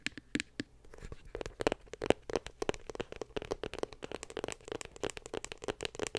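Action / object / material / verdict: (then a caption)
tap / small glossy cardboard box / cardboard / none. Long pink acrylic nails tap a small, closed, white glossy cardboard iPhone 7 Plus box held in one hand. A rapid, uneven series of dry, bright nail clicks plays out, each with a short hollow cardboard knock around 440 Hz that dies away almost instantly.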